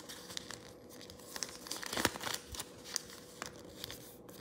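A thin yellow origami sheet, folded into a narrow crane shape, is lifted off the table and pinched and creased between the fingertips. It makes quiet, irregular crinkles and sharp papery crackles, with a brief denser burst of rustling near the middle. The sound is bright and dry, with almost no low end and no ringing.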